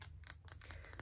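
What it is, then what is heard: Glass shot glass. A novelty shot glass bought at a thrift store is tapped or handled, giving a quick series of light, bright glassy chinks. Each clink is high-pitched and dies away almost instantly over a faint low hum.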